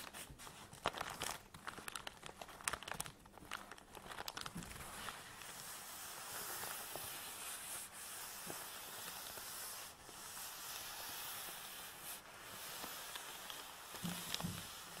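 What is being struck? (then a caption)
Nylon fabric tripod bag. Hands grip a full black nylon tripod bag resting on a table, with fingertips and nails rubbing and scratching the fabric. The first few seconds bring quick, crinkly scratches with sharp little clicks. It then settles into a steady, bright, hissy rubbing that stays quiet and close throughout.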